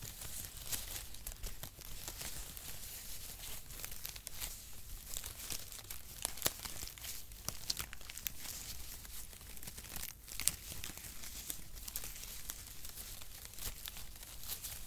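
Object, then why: Shredded cardboard packaging strips. A bundle of brown cut cardboard packaging strips is held up and crinkled and stretched with both hands. It makes a steady, dense crinkling and papery rustle with bright, sharp crackles and occasional louder snaps throughout.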